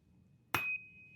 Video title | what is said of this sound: Our AR Setups - Medium Range Builds (2 of 2) | this thing rings so bad at the range, like incredibly